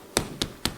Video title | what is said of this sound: ❥ PAIN FAIT MAISON (ULTRA FACILE!) - COOK & CHAT WITH SANDREA | si jamais ça sonne creux c'est que il est beau